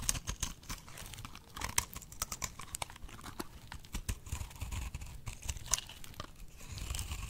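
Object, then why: Bar of soap. A box-cutter blade shaves curls from a solid, dry pink soap bar resting on fingers. The result is a rapid run of crisp, dry scraping crackles with bright edges over a soft low rumble.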